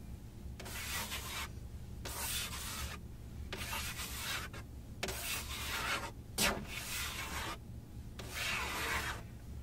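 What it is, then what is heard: Plastic car dashboard, scratched. A large, solid, textured plastic dashboard panel in a Benz car is rubbed and scratched with a flat hand and long nails. Repeated bright, hissy scraping strokes sweep across the surface, separated by short pauses, with a steady low hum underneath.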